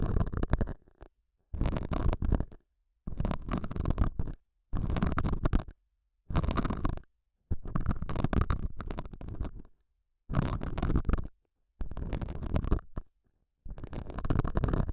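A metal dental scaler hook scratches the surface of a small square beige felt pad on a lapel mic, giving deep, muffled, rumbling scrapes. The sound comes in nine bursts of dense, gritty scratching, each about one to two seconds long, separated by short silences.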